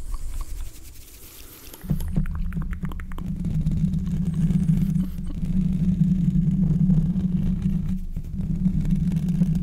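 Fingertips of both hands scratch and rub the hollow steel mesh grille of a large condenser microphone. After a quiet, faint opening, a loud, deep rumbling boom sets in at about two seconds, with a steady low hum near 150 Hz under rapid, muffled scratching that continues to the end.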